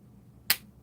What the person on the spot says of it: that kind of dead sound